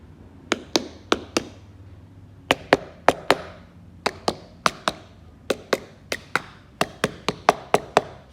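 Twenty-two short, dry knocks are struck on the husks of two Monthong durian fruits, mostly in quick groups of four and ending with a run of six. Each knock is a sharp, slightly hollow midrange tap that dies away almost at once. Both fruits are ripe: the hollow sound comes from the gap between the flesh and the husk, and opening one confirmed ripe, soft flesh.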